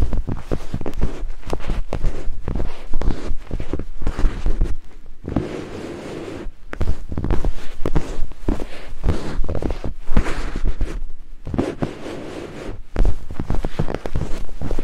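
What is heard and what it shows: Two thin wooden picks held in fingertips scrape across white silicone binaural microphone ears, producing dense, rapid, muffled scratching and rubbing with a heavy low rumble. The scraping comes in busy bursts, easing into softer, quieter rubbing around the middle and again near the end before picking back up.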